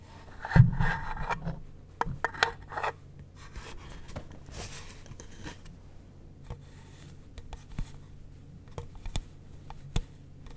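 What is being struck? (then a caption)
Small wooden box. A furry fursuit paw glove with fur-covered fingers scratches and rubs the lid and sides of a small, light pale-wood box with a brass latch, hollow and closed. A louder scuffing burst comes early, then the clip settles into quiet, dry rubbing and scratching with scattered small taps over a steady low hum.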